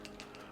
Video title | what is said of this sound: BMW E60 M5 S85 PCV Valve Location & Replacement | quite clogged you hear that one a lot more rattle